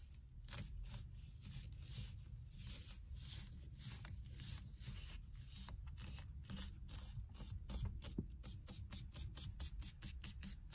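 A black stitched leather or faux-leather cover on a solid car steering wheel rim is squeezed, gripped and rubbed with fingers and long red nails. The result is a run of short, dry scratching and creaking strokes over a low, steady rumble, with bright rasping streaks in each stroke.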